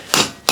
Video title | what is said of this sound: Dana 44 rear disc brake conversion Dana 41 Cj2A | it'll go from like a hollow sound to a a solid thump